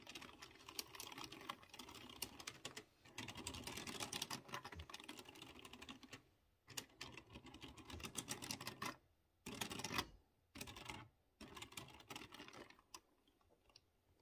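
Fingertips type quickly on a typewriter-style mechanical keyboard with chrome-rimmed round keycaps over clicky blue switches. Dense, bright clacking runs in bursts, with brief pauses between them, and the typing thins to sparser clicks toward the end.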